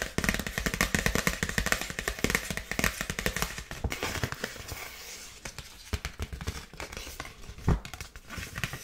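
Long nails tap and scratch a dark polka-dot paper gift bag held upright. The result is a dense run of crisp, crackly taps and papery scratching with bright rustle and soft low thumps, including one sharper tap near the end.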